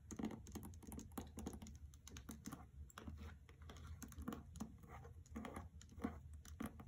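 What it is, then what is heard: Paper-jacketed hardcover book. Fingernails tap and scratch across the front cover of a hardcover copy of "The Trespasser" in a paper dust jacket resting on carpet. Quick, soft, papery taps come in an uneven stream with rustling scratches between them, each tap dying away almost at once.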